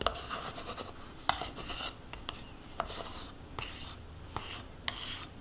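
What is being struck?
Thin plastic yogurt cup scraped by a metal spoon.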